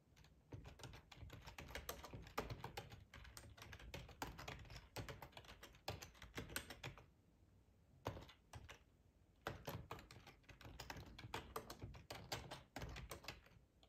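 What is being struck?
Plastic computer keyboard.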